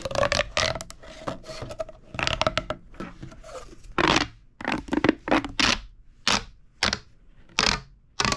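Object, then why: Corrugated plastic pop tube toy. A purple, hollow, corrugated plastic pop tube toy is pushed together and pulled apart by both hands on a table, making its ridges snap. A run of short, bright, scraping snaps and crackles comes in quick bursts, with brief quiet gaps toward the end.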